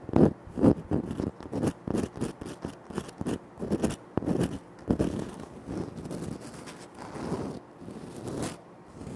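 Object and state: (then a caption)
Granite floor tile. Short nails scratch across a flat, solid, speckled granite floor tile. The result is a run of quick, irregular, dry scraping strokes with no ring, strongest in the low-mids. The strokes soften into longer, smoother rasps toward the end.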